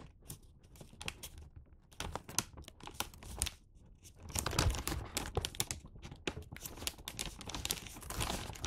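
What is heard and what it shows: A red and white Santa-print paper gift bag filled with wrapped sweets has its top flap creased and folded by both hands, with fingertips and short nails pressing along the paper folds. Close, dense crinkling and crackling rustles run throughout, with sharp bright snaps over a low rumble of handling, growing louder and busier in the second half.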